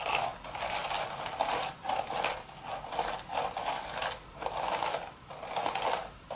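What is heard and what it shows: Long, sharp red nails scratch across the woven surface of an empty, hollow straw hat crown. The sound is a series of dry, crackly rasping strokes that swell and fade in steady waves, with a bright, papery texture and little low end.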